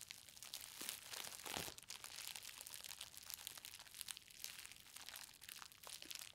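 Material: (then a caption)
Plastic. Fingertips and long nails press and tap a green plastic bubble-wrap parcel holding a book, resting on a fabric surface, crushing its bubbles. A dense, bright crinkling and crackling runs throughout, broken by many sharp little snaps and one fuller crunch early on.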